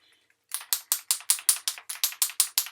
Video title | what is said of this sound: Order Club April 2022 Card Kit. #ctmh #paper #stationary | you can hear that ball rattling around in there. That's what you want to hear.